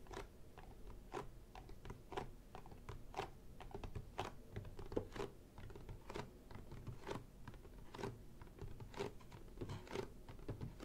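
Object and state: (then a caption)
Cardboard box, tapped with nails. Long painted nails and fingertips tap and scratch the top of a closed, apparently hollow printed cardboard toy kit box lying flat on a table. The result is a quiet, irregular stream of short, dry clicks and scratchy brushes with a dull, low, hollow body. Stronger taps land roughly once a second, with light scratching between them.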